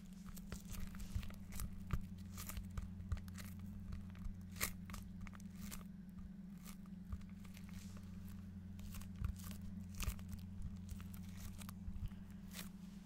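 A large, flat cardboard desk pad calendar cover with a printed pattern is held in both hands and tapped and scratched with fingertips and nails. Short, dry taps and crinkly scratches come in scattered bursts over a steady low hum.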